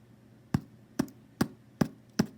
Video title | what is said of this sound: Let's Make Lunch - Bread, Part 1 | if you tap on it, you can hear it sounds hollow. That is a good test to see if your bread is done